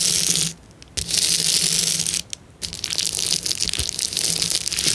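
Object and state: Plastic bubble wrap being crushed.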